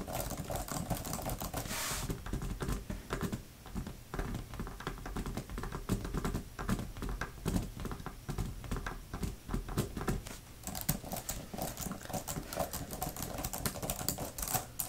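Long-nailed fingertips type rapidly on the flat plastic keys of a thin grey plastic laptop type-cover keyboard. The result is a dense stream of quick, dull clicks and taps with a soft low thud under each stroke. Each sound dies away almost at once, with brighter, sharper clatter toward the end.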